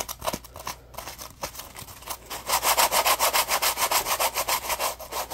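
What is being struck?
Polymer foam sponge.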